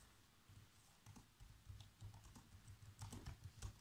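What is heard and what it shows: Bare fingertips with short nails type continuously on a black plastic laptop keyboard. About nine soft, quiet key presses sound as low, dull thuds, each topped with a faint bright click that dies away almost instantly.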